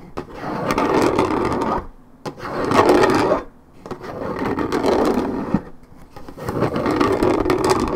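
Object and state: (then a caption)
Paperboard juice carton being scratched. Long nails scratch the top edge of a hollow, coated-paperboard Minute Maid orange juice carton tilted in the hand, making a dense, rough scraping rasp centered in the midrange with little bass. The scratching comes in four long passes, each swelling and then dropping away in a brief near-silent pause before the next.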